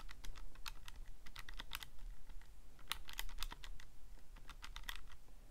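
Fingertips press the plastic keys of a Casio calculator in a quick, uneven run of sharp, bright clicks that stop almost at once. A steady low hum sits underneath the whole time.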